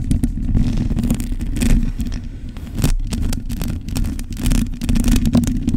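Long nails scratch the top and sides of the bare metal mesh grille of a black microphone. The sound is a dense, continuous rasping rumble with a heavy low boom and a steady hum-like tone near 240 Hz. Quick bright crackles flicker over the top as the nails drag across the mesh.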